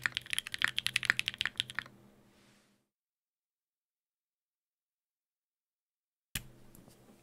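Fingertips tap slowly on a Sangeo 60, a 60% mechanical keyboard in a white case with blue and grey GMK ABS plastic keycaps, an aluminium plate and Durock POM switches. A burst of about fifteen crisp, bright, clacky keystrokes fades into silence, and after a pause a single sharp key tap follows with a faint tail.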